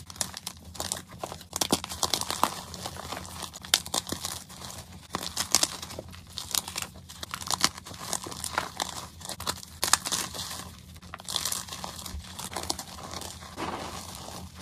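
Hands with short painted nails squeeze, crush and rub chunks of white gym chalk in a bowl of crushed chalk and powder, grinding it into fine powder. Dense, bright crunching and crinkling crackles come in irregular bursts over a faint steady low hum, with each crunch dying away almost instantly.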